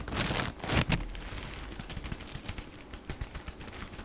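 A plastic-wrapped tissue pack, held against the chest, is squeezed and crinkled by fingertips, then opened slightly at the end. A loud, dense burst of crackling fills the first second. It gives way to steadier, softer crinkling with scattered sharp pops and a low rumble underneath.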